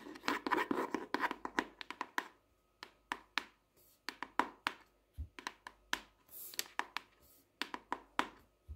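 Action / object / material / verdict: tap / softcover paper notebook / paper / none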